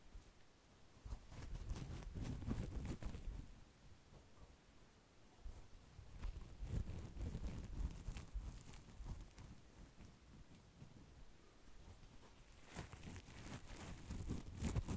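A hand-sized, rectangular yellow foam kitchen sponge with a porous surface is held in one hand close to a microphone windscreen and scratched with fingertips and nails. It makes soft, muffled, bassy scratching and rubbing. The sound comes in three louder waves separated by quieter stretches.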